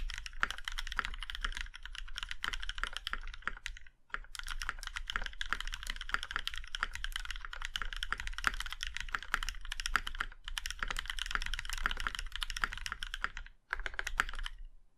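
Fingertips of both hands type steadily on a compact Iron 165 mechanical keyboard with a plum-red aluminum case and black keycaps. The rapid, crisp clacks have short, tight decays and a bright, clicky tone. The typing runs in continuous bursts, with brief pauses near 4 and 13.7 seconds.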